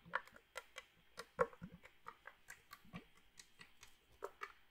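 A small red metal drink can, likely aluminum and holding some liquid, is held in one hand near the microphone and shaken or tapped with the fingers. About eighteen quiet, irregular taps and light clicks are heard, each short and dry with a hollow mid-range tone and no lingering ring.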